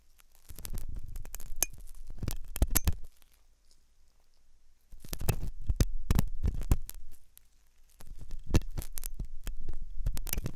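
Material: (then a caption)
Silicone. A metal dental pick scrapes and clicks inside the hollow ear canal of a white, soft silicone ear on a binaural microphone. Three bursts of dense, irregular clicks and scratches are separated by quiet gaps. They carry a heavy low rumble with sharp, bright ticks on top.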